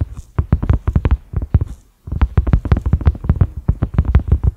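A large, flat, cream silicone pot lid with concentric ridges and a black center knob is tapped rapidly with the fingertips and short nails of both hands. The result is a quick patter of soft, dull, low thuds with almost no ring, broken by a brief pause midway before the tapping resumes.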